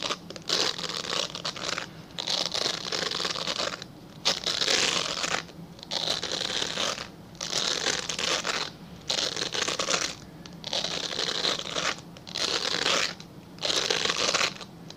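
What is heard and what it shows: Fingernails scratch a translucent solid glycerin soap bar held upright in one hand, producing bright, dry, crunchy rasping with a high, hissy edge. The scratching comes in repeated bursts of a second or two, separated by brief quiet pauses.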